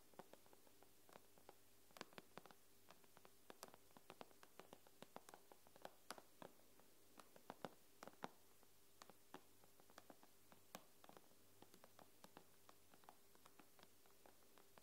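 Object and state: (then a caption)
Tablet glass screen tapped with nails. Long nails tap and scratch near the edge of an iPad's glass screen while the tablet lies flat. Dozens of quick, sharp, dry clicks with bright tips land in an irregular rhythm, each dying away almost instantly. A faint steady low hum sits beneath them.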